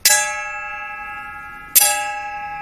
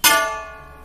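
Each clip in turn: First: bronze utensil, long bell-like ring. Second: brass utensil, shorter ring than bronze.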